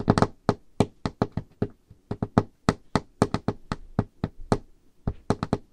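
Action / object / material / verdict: tap / wooden table top tapped with fingernails / wood / none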